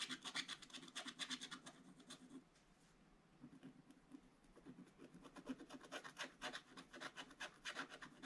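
A wooden stylus scratches fill strokes into a gift box drawing on a black coated scratch-art paper page in an open book. Quick, bright, dry scratching strokes come in rapid bursts with a brief quiet pause partway through.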